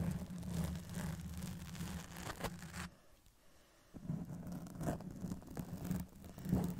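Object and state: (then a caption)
Foam microphone windscreen being scratched. Long pink press-on nails on both hands scratch the sides of a soft black foam windscreen covering a Blue Yeti microphone. The result is a dense, low, muffled rustling and scraping with a steady hum near 184 Hz. The scratching drops to near silence for about a second around the middle, then resumes.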